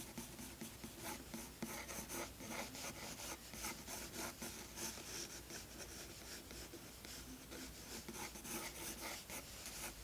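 A blue graphite pencil held in the fingers sketches with light strokes on a tan toned-paper page of a spiral-bound sketchbook resting flat on a wooden desk. The tip makes a continuous, bright scratching rasp across the paper surface, rising and falling in short, repeated strokes throughout.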